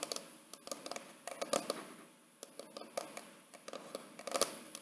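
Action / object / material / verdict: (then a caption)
tap / paper-covered cardboard photo album cover / cardboard / none. A large square wedding photo album with a pale, paper-covered hard cardboard cover and a small framed photo window rests on a lap while long painted fingernails of both hands tap and scratch it. Quick, dry clicks come in irregular clusters with faint scratching between them, and each tap dies away almost at once.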